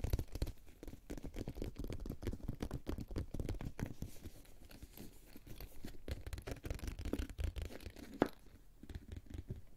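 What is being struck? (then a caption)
Synthetic-leather makeup pouch. A medium, boxy pink synthetic-leather makeup pouch with a metal zipper, closed and held in both hands, is tapped and scratched with fingertips and short nails on its sides and top. The sound is a quiet, steady stream of soft, muffled taps and dry scratching, mostly low and dull, with one sharper tap near the end.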